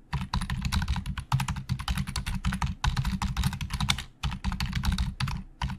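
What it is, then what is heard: Plastic computer keyboard. Fingertips of both hands type very fast on the hollow plastic keys of a black plastic Logitech full-size keyboard resting on a desk. The result is a dense stream of quick, dry plastic clacks, each with a low, hollow thump under a bright click. The typing comes in bursts broken by brief pauses.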